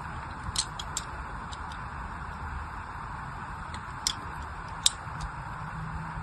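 A small knife tip scratches and scores lines into an unwrapped, solid pink-and-white striped glycerin soap bar held in one hand. A few short, sharp, bright ticks and scrapes sound over a steady low hiss, each stopping almost at once.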